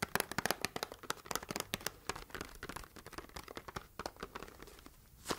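Long red nails tap and scratch the flat sides of a small, hollow, rectangular red printed cardboard box held in both hands. The result is a rapid run of dry, crisp clicks and papery scratches with a hollow tone, each dying away almost instantly, ending in a brighter, louder scrape.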